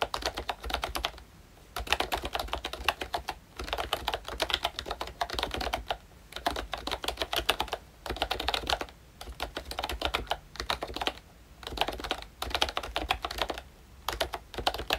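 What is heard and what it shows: Fingertips of both hands type on a full-size pink ROYCHE Disney Mickey Mouse retro keyboard, with a plastic case, round dark green plastic keycaps and membrane switches. Rapid runs of short, bright plastic taps come in bursts separated by brief quiet pauses, each tap ending almost instantly.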